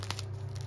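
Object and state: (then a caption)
Crisp-crusted baguette. A freshly baked seed baguette, just out of the oven and resting on a rack, is squeezed by hand close up, its crust giving short, bright crackles and crunches. A steady low hum runs underneath throughout. The crackling shows a crisp, well-baked crust.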